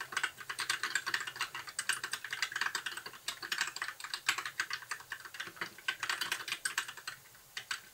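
Fingertips of both hands type continuously on a compact white mechanical keyboard with backlit plastic keycaps. The result is a steady stream of quick, crisp, bright clacks with a mid-range tone and almost no low end. Each keystroke dies away almost at once, with brief pauses between bursts of typing.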